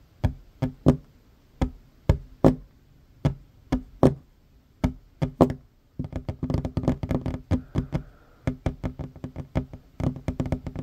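Fingertips and short nails of both hands tap quickly on a solid wooden tabletop, making short, dry knocks that stop almost at once. The taps start sparse and uneven for about six seconds, then turn into a dense, rapid flurry with a brief pause before the last burst.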